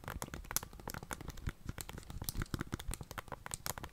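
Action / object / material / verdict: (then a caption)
tap / plastic handheld game console / plastic / none. Long dark-painted nails tap on the back and sides of a plastic Nintendo Switch console with Joy-Cons and press its buttons. A dense, rapid stream of sharp clicks and taps with bright, crinkly edges rides over soft low thumps, each hit dying away almost instantly.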